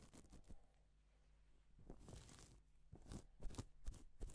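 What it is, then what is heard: Plastic sequin fabric being brushed. A gloved hand rubs and sweeps across a flat, reversible pink and silver plastic sequin fabric sheet, flipping the sequins. This makes soft, bright, scratchy rustles and crinkly swishes in uneven bursts over a quiet low hum. The brushes grow slightly louder and sharper toward the end.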